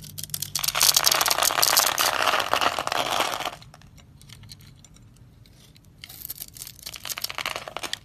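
A utility knife blade scrapes and crunches cubes off a white, solid, hand-sized dry soap bar scored in a grid. A dense, bright, crackling crunch runs for about three seconds, falls to a near-quiet pause, then returns as softer, scattered crumbly scraping near the end.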